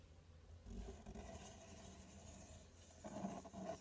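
Fingertips and nails scratch along the front panel and top edge of a large, empty, open corrugated cardboard box. The result is a quiet, steady, low, rumbling scrape with a faint bright hiss, growing louder and rougher near the end.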